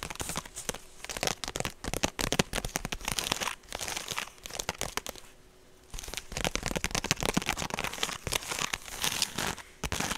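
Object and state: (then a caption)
Woven straw purse. Long painted nails scratch and tap a medium rectangular woven straw handbag with a rope strap, hollow and empty, held up close to the mic. Dense, bright, crinkly scratching mixes with rapid dry clicks that stop almost instantly. The sound briefly quiets to a softer rustle about halfway through before resuming.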